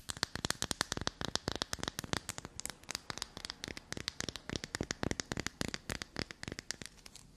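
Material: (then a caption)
Soap. Long black nails quickly scratch and tap a solid block of black soap held in the hand. The result is a fast run of about 46 sharp, crisp clicks and scrapes with a bright, dry texture and almost no ring.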